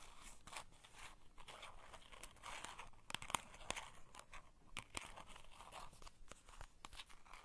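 Long white and green painted nails tap and scratch the surfaces and edges of a small printed cardboard playing card box, held in both hands, hollow and filled with a card deck. Quiet, dry scratching runs throughout, broken by many sharp, short taps that die away instantly, with a midrange body and a bright, papery hiss on top.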